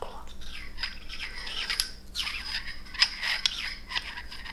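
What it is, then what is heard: Glass stopper scraped in a glass bottle neck. A small frosted glass stopper is moved and clinked in the frosted neck of a glass bottle. It makes bright, high-pitched gritty scrapes and short clinks.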